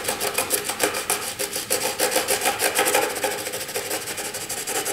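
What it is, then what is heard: Pencil shading on drawing paper. A graphite pencil is scratched across a flat white drawing paper sheet in long, sweeping shading strokes. Each stroke makes a dry, raspy scrape with a bright hiss, repeating in a steady back-and-forth rhythm with little low end.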